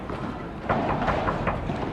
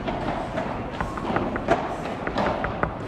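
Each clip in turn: First: glass padel court wall that rings when knocked. Second: padel court glass wall that does not ring.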